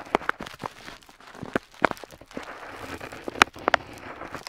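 A metal dip pen nib scratches across a flat paper map sheet while tracing a coastline. Short, dry, crackly strokes with a bright, papery edge stand out against a soft, continuous hiss of the nib dragging over the paper, each stroke dying away almost at once.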